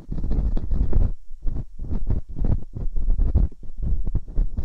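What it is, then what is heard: Silicone microphone ear scraped with a dental pick. Metal dental picks scratch inside both ear canals of silicone binaural microphone ears. The sound is a deep, muffled rumbling and scraping, almost entirely low in pitch, coming in dense bursts separated by brief quiet gaps.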